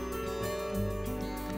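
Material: Nothing is struck.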